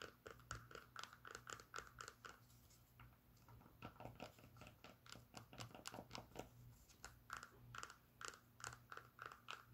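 Long pink nails scratch the suede strap of a brown Birkenstock sandal with a cork footbed, held in the hand. A fast run of short, crisp scratching strokes with a bright rasp rises and falls in bursts, easing to a softer, denser scrape midway before the quick strokes return. A steady low hum sits underneath throughout.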